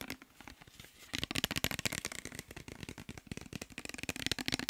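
A clear plastic micellar water bottle with a white cap, partly filled with liquid, is held in the hands and tapped and scratched with fingertips and nails. Rapid, crisp, bright clicks and scratchy ticks start soft and sparse, then turn faster and louder after about a second, continuing as a busy, dry patter.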